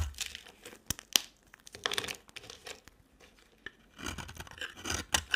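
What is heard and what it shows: A smaller oval light-green bar of soap is scraped with a utility knife blade. Short, dry, bright scraping and crackling strokes come in uneven bursts, with sharp clicks at the blade's catches and quiet gaps between.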